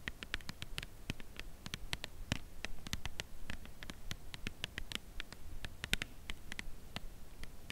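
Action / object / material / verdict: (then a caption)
tap / cardboard chocolate bar box / cardboard / none. Long nails tap the front face of a full cardboard chocolate bar box held in the hands. The result is a steady, unevenly spaced run of quick, dry, bright clicks over a soft low rumble, each tap fading almost instantly.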